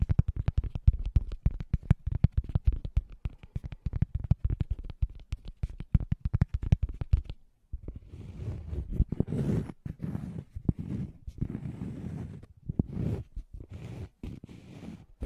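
A thin, solid round cork coaster held close to the microphone is tapped rapidly by fingertips for about the first seven seconds, giving a dense run of short, dull, low thuds. The fingertips then switch to scratching the cork, producing a rougher, continuous rustling texture in uneven bursts until the end.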